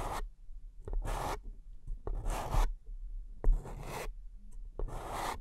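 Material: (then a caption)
Paper. Long fingernails scratch and tap the base of an empty, upside-down beige paper cup held in one hand. Short, sharp taps alternate with bright, hollow scratching strokes, each lasting a fraction of a second, with brief quiet gaps between them.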